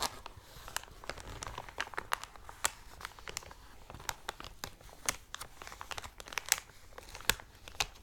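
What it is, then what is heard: Thick cellophane plastic bag. An empty, thick, clear plastic cellophane bag lies on a black cloth while long dark nails scratch and rub it, then fingers pinch and crinkle its edge; the cardboard header nearby is not handled. Sharp, bright crinkles and clicky snaps stand out over a soft, steady rustle with almost no low end.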